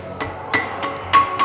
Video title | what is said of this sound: ตามล่าหา UFO ฟุกุชิมะ ญี่ปุ่น 4ทศวรรษแห่งการถูกพบเห็นจานบิน | 鍛冶屋のように聞こえます